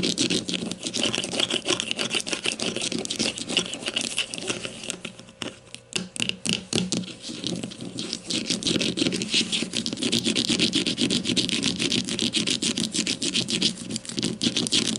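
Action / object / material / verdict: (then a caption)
scrape / plastic deodorant stick casing / plastic / none. Long nails rapidly tap and scratch the side of a grey plastic deodorant stick lying flat. The result is a dense, irregular stream of bright, dry plastic clicks and scraping rasps with almost no ring. The sound thins out briefly around the middle, then resumes at full pace.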